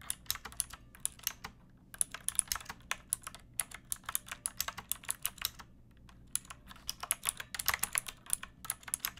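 Long painted nails and fingertips type on a pink plastic mechanical keyboard with round backlit keycaps and a hollow body. Quick, bright, clacky keystrokes with very short decay come in bursts separated by brief pauses, over a faint low background hum.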